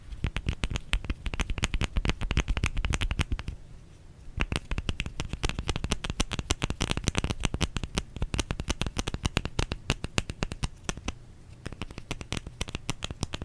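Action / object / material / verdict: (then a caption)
tap / bar of soap / soap / none. Fingers tap rapidly on a bar of soap, producing a dense stream of short, dry, low-pitched knocks with crisp clicky edges. The tapping comes in steady bursts with brief softer lulls around four and eleven seconds.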